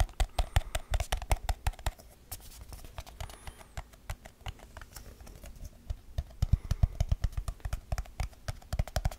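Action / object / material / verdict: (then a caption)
tap / small aluminium tin can with lid / aluminium / none. A small, hollow, round silver aluminium tin with its lid on is held up in both hands and tapped fast with fingertips and nails on the lid and rim. Quick, uneven taps give short, dry clicks over a dull low thump, with no ring after each tap. The tapping is louder at the start and end and softer and sparser in the middle.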